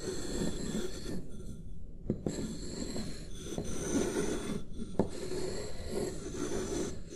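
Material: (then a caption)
Paper. The tips of two wooden stick tools trace lines across a single sheet of white paper resting on a wooden desk, producing a continuous, soft, writing-like rub that is mostly low and dull. A few brief sharp ticks stand out from the steady scraping.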